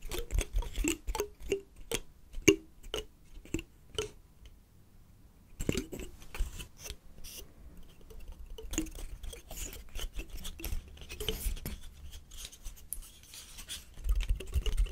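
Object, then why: Woody pine cone scales. A large, dry brown pine cone with woody scales is held in one hand and scratched along its scales with fingertips and nails. The result is a run of crisp, dry clicks and crackling scrapes, with a brief quieter lull near the five-second mark before the scratching picks up again.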